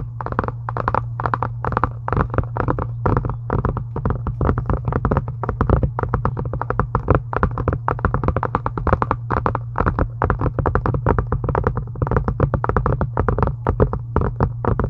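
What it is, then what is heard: Faux leather journal cover tapped with nails. Long acrylic nail tips tap rapidly and continuously on a solid, pink embossed faux-leather book cover, making dense, short, dry clicks with a bright edge. A steady low hum sits underneath the tapping throughout.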